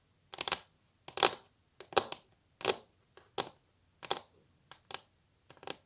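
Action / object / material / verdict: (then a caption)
tap / wooden table top / wood / none. Long natural nails of both hands tap on a solid wooden table top in quick clustered bursts of clicks. The taps are short, dry and bright with almost no ring, and the bursts recur unevenly across the clip.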